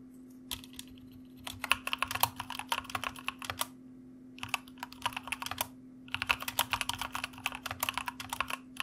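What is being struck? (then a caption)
Plastic mechanical keyboard. Fingertips of both hands type on a white mechanical computer keyboard with plastic keycaps, producing quick, bright, clicky keystrokes. The typing comes in three bursts separated by short pauses, over a faint steady low hum.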